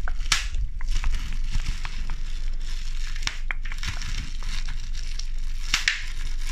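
A large sheet of clear plastic bubble wrap has its hollow air bubbles squeezed, popped and crushed with fingertips and pink nails. Sharp, bright snaps stand out over a steady low crackling and crinkling that runs through the whole clip.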